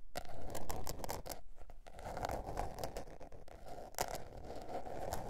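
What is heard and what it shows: Long nails scratch and tap the cover and page edges of a small spiral-bound notebook with a blue patterned cover lying on fur. The result is a steady run of dry, papery scrapes broken by quick sharp taps, with brief bright clicks over a soft, muffled low end.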